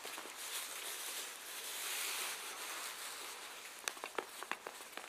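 Two gloved hands, one in white cotton and one in black, rub and press the soft front of a black leather jacket laid flat, beside the zipper with a pinned button nearby. A quiet, steady, hissy rubbing fills the first few seconds, then gives way to five sharp, bright crinkles near the end.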